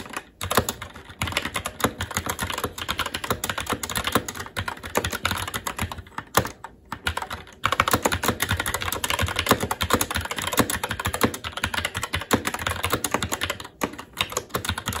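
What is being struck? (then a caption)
Mechanical keyboard, plastic keycaps on metal plate. Fingertips of both hands type rapidly and continuously on a SteelSeries Apex 7 TKL mechanical keyboard with red linear switches, black plastic keycaps and an aluminum plate. The dense stream of short, dry clacks is bright and centered around 1.3 kHz, with little low thump. Typing pauses briefly near the start, for about a second around the middle, and once more near the end.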